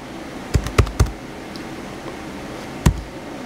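Fingertips type on the white plastic keys of a small blue plastic HP laptop keyboard. Four short, dull key taps stand out, three in a quick cluster and one after a pause, with deep thuds and faint clicky highs over a steady low hum.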